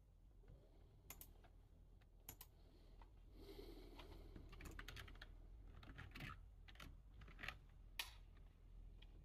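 Fingertips of one hand, then both hands, type on a full-size black plastic computer keyboard. Sparse, irregular bright key clicks give way to a denser, busier flurry of clacking. A steady low rumble runs underneath throughout.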